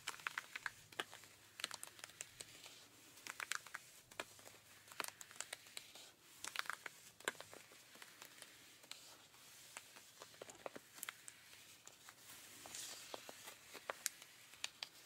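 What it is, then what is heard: Denim jeans being scratched. Pink rubber-gloved fingers scratch the thigh fabric of ripped blue denim jeans near the rips. Quiet, bright, dry scratching and crinkly rasps come in dozens of quick, sharp strokes with almost no low end and no ring after each stroke.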